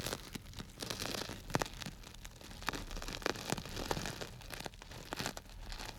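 A small clear plastic bag tied with string and full of small orange-yellow dry grains is crinkled and squeezed with fingers close to the microphone. A steady, dense crinkling rustle with a rain-like hiss is broken by sharp, bright crackles and pops as the grains shift against the plastic.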